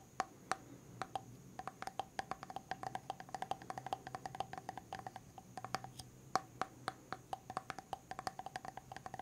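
Fingernails tap rapidly and repeatedly on the silver lid rim and side of a medium white plastic hair mask jar tilted sideways. Each sharp, dry click dies almost instantly, with a faint hollow tone around 760 Hz under a steady high hiss. The taps come in an uneven, continuous patter, some louder than others.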